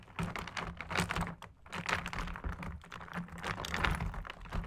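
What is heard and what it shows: Ice cubes floating in fizzy Sprite inside a large clear plastic food container are poked, tapped and stirred at the surface with two thin metal straws or sticks. The result is a dense, continuous run of quick, short clicks and knocks with a low body, layered over a soft background fizz.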